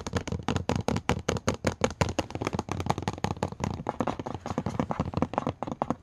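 A rapid, uneven stream of short clicky taps, some broader and thuddy, others sharper where nails meet the surface. Nothing rings on; the thin glass over a light hollow lid just gives a quick tick and a soft knock, in a small quiet room.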